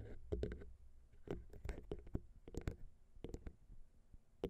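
Long pink nails tap all over the small chrome metal capsule tops of a Zoom H6 recorder's XY microphone, mounted on a plastic XY mount. The result is a run of sharp, dry clicks and knocks with very little ring, heavy in low thump beneath faint bright edges.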